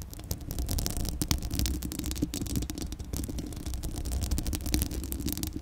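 Long acrylic nails rapidly scratch the uncovered, hollow metal mesh grille of a Blue Yeti microphone. The result is a dense, continuous stream of bright, crackly scratches over a heavy low rumble that swells and dips throughout.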